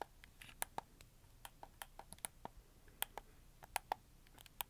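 Thumbs press the face buttons and joysticks of a red camo plastic PS4 game controller held in both hands. About nineteen sharp, dry clicks come at an irregular pace, each bright and very brief with no ring. A faint, steady hiss sits underneath.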